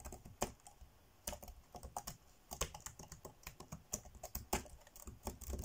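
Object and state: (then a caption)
Plastic laptop keyboard. Fingertips tap quickly on the dark grey plastic chiclet keys of a laptop keyboard, typing fast. Each keystroke is a short, dry, bright click with a soft low thump beneath it, landing in uneven bursts with brief pauses.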